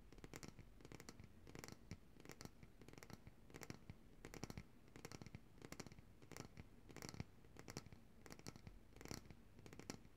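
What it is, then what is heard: Glass jar of coconut oil tapped with fingernails. Long dark-painted nails tap and scratch the glass sides of a large coconut oil jar with a paper label, held upright and full of white solid oil. The result is quiet, rapid clusters of sharp clicking taps and scratchy strokes with a bright edge, each dying away almost instantly over a low background hum.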